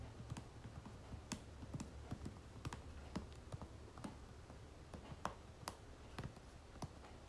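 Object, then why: Soft plastic lotion tube. Long nails tap rapidly on the back of a soft plastic lotion tube held upright, giving about fourteen quick, dry clicks with a short, bright snap. The taps sit over a steady low rumble and die away almost at once.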